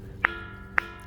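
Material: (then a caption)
Stone. A rock at Ilhabela's "bell stone" is struck twice, each hit giving a sharp, bright ring centered near 1.6 kHz. The rock really does make a bell-like ringing sound.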